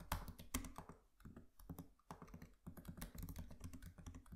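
Fingertips of both hands tap and type on the black plastic keys of a MacBook Pro laptop keyboard with an aluminium body. A quick, irregular run of soft, short clicks and dull thuds plays, with a low body and little high-end ring. It pauses briefly midway, then resumes.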